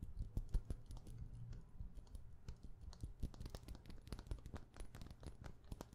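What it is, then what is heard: Plastic perfume bottle cap. A hollow white frosted plastic perfume bottle cap, held close to the mic, is tapped rapidly with long painted nails. The result is a fast, uneven patter of short, dry clicks with a thudding low body and bright ticking tops, each dying away almost instantly.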